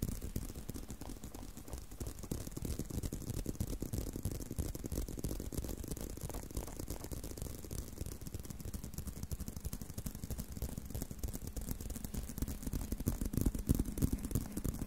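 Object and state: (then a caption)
Leather belt scratched. Fingernails scratch the textured surface of a brown leather belt strap bent into an arc. The result is a steady, quiet, dense scratching and rustling with most of its energy low in pitch, growing slightly louder toward the end.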